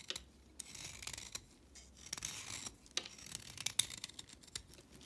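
A solid orange chalk stick is held in the hand and scraped with a blade, so flakes break off. Short, dry, bright scraping strokes and crisp snaps repeat throughout, with quiet pauses between them.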